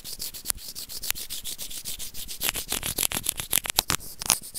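A small hollow white plastic earphone remote is rubbed back and forth with white plastic tweezers. The result is a quick, bright scratchy rasping in uneven strokes with sharp, high clicks scattered through it.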